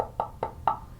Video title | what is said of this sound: Music Corner Episode 1 | it's hollow in the middle so if you knock on it it's a lot louder